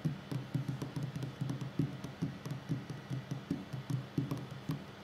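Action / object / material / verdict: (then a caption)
tap / wooden tabletop / wood / none. A solid wooden tabletop is tapped by the fingertips and short nails of both hands in a steady, uneven rhythm. Each tap is a soft, dull, low thump around 133 Hz that dies away almost at once, with faint bright clicks from the nails on some strikes.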